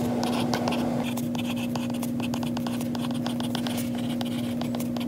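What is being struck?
Plastic stylus tip on a glass tablet touchscreen.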